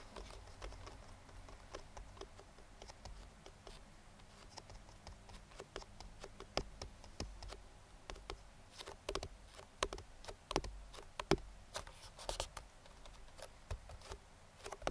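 Bare fingertips drum and tap irregularly on the side of a hollow, printed cardboard speedlite box. The soft, dull taps are short and dry, with brighter, sharper knocks scattered throughout, especially in the second half, over a quiet low rumble.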